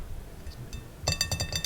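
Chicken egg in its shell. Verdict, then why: Solid. A hard-boiled chicken egg in its shell, cooked solid inside with no liquid left, is tapped in a quick series of short, dry clicks after a faint, quieter start. The full, cooked egg gives a lower-pitched sound than a raw egg would.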